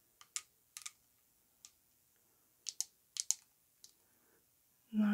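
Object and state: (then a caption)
Glass perfume bottle tapped with nails. Long acrylic nails tap the cap and body of a hand-held Lattafa Yara Tous perfume bottle, a cylindrical orange-coated glass bottle filled with perfume, with gold metal bands and an orange cap. The result is a sparse series of sharp, bright, dry clicks that stop instantly, some in quick pairs, over near silence. A louder, sustained sound begins right at the end.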